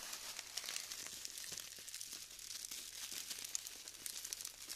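Two hands with pink-painted nails dig into a heap of small pastel styrofoam balls glued into crumbly clumps in a round black tray, squeezing and crumbling the dry foam between the fingertips and rubbing the loose beads. The result is a steady, dense stream of bright, dry crinkling and crackling with tiny sharp snaps and almost no low end.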